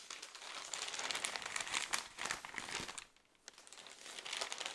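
A thick newsprint newspaper is held in both hands while single pages are flipped quickly with the fingers. Bright, crisp paper rustling and crinkling come in dense bursts, with a brief quieter lull near the three-second mark before the flipping picks up again.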